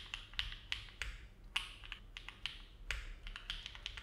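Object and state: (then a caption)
Mechanical keyboard with plastic keycaps. Both hands' fingertips type steady key presses on a compact Neo70 mechanical keyboard with an aluminum case and plate, foam filling and ABS plastic keycaps, resting on a desk mat. Each keystroke is a short, hollow, clacky tap that dies away almost instantly, with most of its energy in a bright band around 3 kHz over a faint low rumble.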